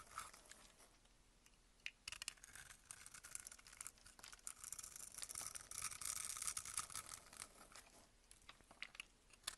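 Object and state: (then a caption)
Glycerin bar soap being carved. A solid amber glycerin bar soap is held in hand while a box-cutter blade scrapes off small soap cubes. Quiet, bright, crackly scraping and crumbly ticks start sparse, grow busier after about two seconds, and swell to the densest, loudest stretch around six to seven seconds before thinning out. The soap breaks away in small pieces with a dry, crinkling texture.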